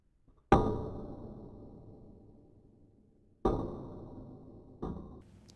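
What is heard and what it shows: A 500 g ball is dropped onto a pane of chemically strengthened (tempered) glass, striking with hammer-like force. Three distinct impacts are heard, each a sharp knock with a ringing tone that fades over about a second. The glass withstands every impact without breaking.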